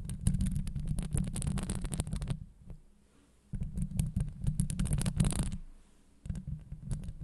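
Long acrylic nails on the fingertips of both hands scratch the hollow, rounded steel wire-mesh grille of a Blue Yeti microphone head. Close, fast scratching makes a heavy, boomy low rumble laced with bright crackling ticks. It comes in dense bursts separated by two brief near-silent pauses.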